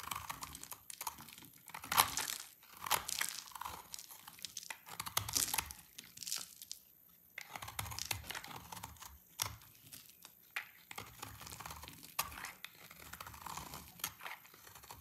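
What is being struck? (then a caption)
Soap bar. A knife blade shaves and scrapes crumbly shavings from the cut face of a solid, dried yellow soap bar held in the hands. The result is a continuous stream of dry, bright crunching and crackling scrapes, with louder bursts that come and go.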